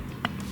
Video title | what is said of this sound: TEMU SUPERCHARGER DISASTER! | if you tap them it sounds very very solid doesn't feel like plastic or anything